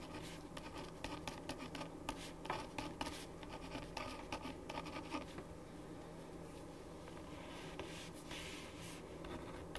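A ballpoint pen writes with scratching strokes on a thin printed paper sheet lying flat on a wooden desk. Short, bright scratches cluster in the first half and then thin out to a softer, steady rustle over a low background hum.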